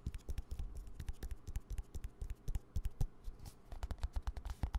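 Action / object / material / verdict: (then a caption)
tap / plastic squeeze tube / plastic / none. A small green plastic hand cream squeeze tube is tapped and scratched with fingertips and nails close to the mic. Rapid, dull low taps mix with short, bright clicking scratches in an uneven, busy patter, each sound dying away almost at once.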